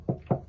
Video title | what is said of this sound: S1E6 Gemini3200 | it looks really thin so it sounds it sounds hollow